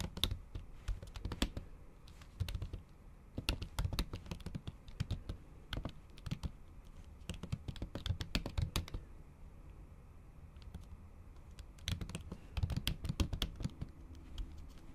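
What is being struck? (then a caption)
Laptop keyboard with thin plastic cover. Long acrylic nails and fingertips tap the keys of a MacBook keyboard covered by a thin pink printed plastic or silicone cover while typing in Japanese. Rapid bursts of short, dry clicks come over a low, soft thump, with bright ticks on top. A quieter pause from about 9 to 12 seconds separates the bursts before the typing picks up again.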